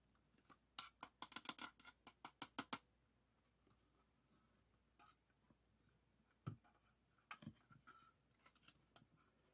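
The grey sheet-metal casing of a floppy disk drive, a small hollow box, is held in the hands and tapped and scratched with fingertips and nails. A quick run of bright, dry clicks opens the clip, followed by quieter, sparser taps and light scratching, with a duller knock partway through. Each tap dies away almost instantly.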